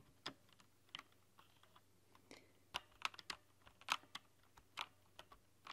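Long nails and fingertips type on a rainbow-lit plastic backlit mechanical keyboard with translucent plastic keycaps. Quiet, bright, sharp clicks and clacks arrive at an irregular pace, each dying away almost instantly over a faint low hum.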